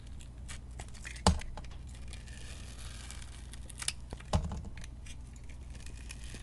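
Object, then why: Bar of soap cut with a metal blade. A metal blade cuts strips from the purple glitter coating of a solid white bar of soap held in the hand. Soft, crinkly scraping runs over a low steady rumble. Two sharp, crisp cracks stand out as the blade bites through the coating.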